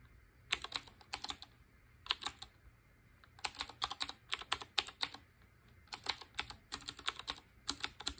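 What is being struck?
Typewriter-style mechanical keyboard with round keycaps.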